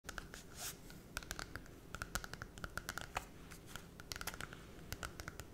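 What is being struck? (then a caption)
Glossy cardboard picture book. Long red acrylic nails scratch and tap the holographic, glossy cardboard cover of a small Disney Cinderella picture book held in both hands close to the face. A steady soft scraping hiss is broken by a rapid, irregular series of short, crisp, bright clicks that die away almost instantly.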